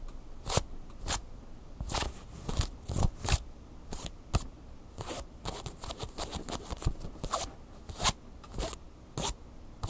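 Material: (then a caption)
Fleece fabric. Long fingernails scratch and rub a large red Angry Birds plush toy made of soft stuffed fleece fabric. The result is a rapid series of short, bright, crackly scratching rasps over a soft low rumble.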